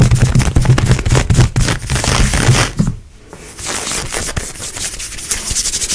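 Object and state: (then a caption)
Ribbed stretch leggings fabric being scratched. Long nails scratch fast and aggressively across grey, ribbed, perforated stretchy nylon-spandex leggings worn on the leg. Rapid, rough scratching with heavy low thumps runs for about three seconds, dips to a brief quiet pause, then resumes as lighter, hissy, brighter scraping.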